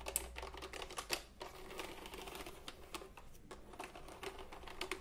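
Fingertips press and tap the round plastic keycaps of a retro typewriter-style computer keyboard held diagonally. The result is a quick, uneven run of short, sharp clicks with bright tips and a low hum beneath, each key sound dying away almost at once.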